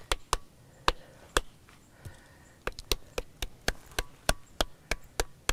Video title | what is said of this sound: ftz shadhin | if you tap it, you get a different sound